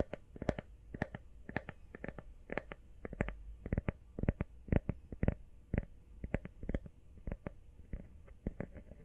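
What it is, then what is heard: Rubber phone case tapped. A small, hollow, empty teal rubber or silicone iPhone case is held upright in one hand and tapped quickly with long painted fingernails. The result is a fast, uneven run of short, dry clicky taps with a soft low thump underneath and almost no ring after each hit.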